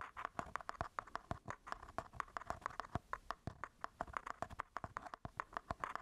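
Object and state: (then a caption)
Mirrorless camera body. Fingertips and nails scratch and tap the textured grip and top of a solid black Sony A7 IV, a plastic and metal mirrorless camera body held close. A quiet, rapid run of dry, clicky taps with a woody tone around 1.1 kHz, each dying almost instantly, with a soft scratching rustle between them.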